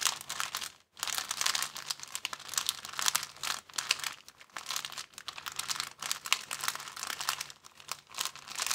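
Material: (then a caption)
Plastic. A thin, empty, clear plastic bag is crinkled with the fingers of both hands. It makes a dense, bright crinkling and crackling that surges and eases, with a brief near-silent pause around one second in.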